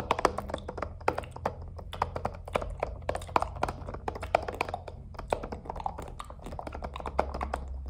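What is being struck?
Hollow plastic star projector night lamp.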